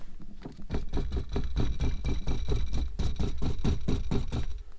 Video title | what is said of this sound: 2021 Ford Bronco Sport Badlands - Rattle sound, Intake Noise, and Parking Brake Fault! | that's the sound ... it vibrates while driving